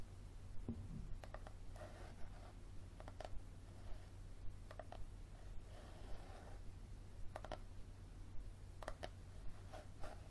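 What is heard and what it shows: Fingernails scratch and tap the cover and spine of a yellow softcover paperback book held at an angle. Sixteen short, dry taps and soft scratching strokes come at an uneven, unhurried pace. The sound is quiet and dies away almost instantly over a steady low hum.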